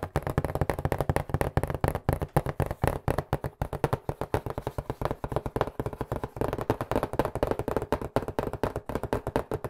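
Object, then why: Cardboard pizza box. A white cardboard pizza box, held in both hands close to the mic, is tapped quickly with the fingertips. About sixty short, dull, hollow taps come in a fast, uneven run, each one bassy and muffled with almost no ring or bright content.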